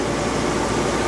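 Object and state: Nothing is struck.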